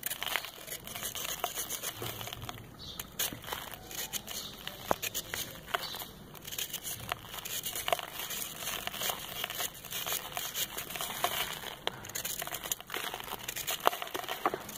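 A solid, compacted ball of red sand held in the palm is shaved and scraped with a metal knife, sending dust falling. Dense, dry crackling and gritty scraping run steadily throughout, packed with sharp, bright ticks that die away almost instantly.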